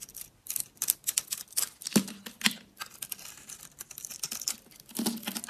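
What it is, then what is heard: Dry bar soap being shaved. A utility knife blade scrapes and shaves thin curls off the surface of a solid, round, green-and-pink bar of dry soap held in the hand. The sound is a run of quick, crisp, bright scratching strokes in an irregular rhythm, with a few sharper, louder cuts that carry a brief low hum underneath.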